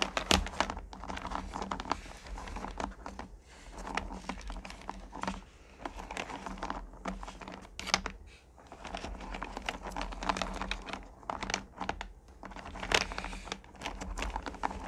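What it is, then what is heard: Hard candy pieces in a plastic pail. Long-nailed fingers rake through a full purple plastic pail of small, solid pumpkin candy corn. A dense, continuous clatter of tiny clicks and rattles rises and falls in waves over a faint steady low hum, with sharper bright bursts as the pieces shift and tumble.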